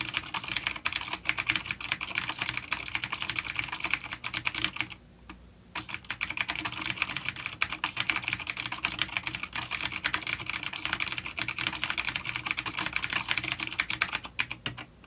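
Both hands type rapidly with fingertips on a full-size black plastic vintage mechanical keyboard with grey keycaps, a coiled cable and vintage clicky blue switches, an A-grade unit resting on a wooden desk. A dense stream of sharp, bright clicks runs throughout, each dying away almost instantly, with a brief pause around the five-second mark before the fast typing resumes.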